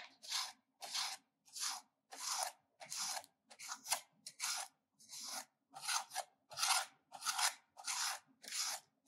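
A solid ridged pink soap bar, held in hand, is scraped against a stainless-steel grater full of shavings in repeated grating strokes. About 14 dry, bright rasping swipes come at a somewhat uneven pace, each a short burst of hissy scraping with almost no low end and silence between strokes.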